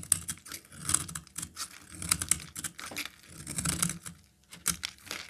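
A solid peach-colored rectangular bar of soap, held in the hand, is scraped and cut with a metal utility knife blade into powdery shavings. The result is a rapid run of crisp, dry scratching and clicking strokes with a bright, hissy top and a soft low thud beneath, each stroke dying away almost instantly.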